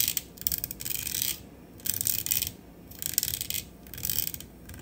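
Long acrylic nails tap quickly on the body and grille of a black matte metal USB studio microphone on a stand. The sound is four bursts of rapid, bright, dry clicking, separated by short quiet pauses.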